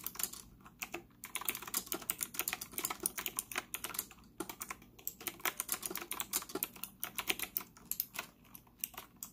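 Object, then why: Plastic mechanical keyboard. Fingertips type rapidly on a white retro typewriter-style mechanical keyboard with round plastic keycaps and an integrated stand, a solid hollow-cased device sitting on a desk in front of a laptop. A fast, uneven stream of sharp, bright plastic clicks and clacks follows, each keystroke dying away almost instantly over a faint low hum.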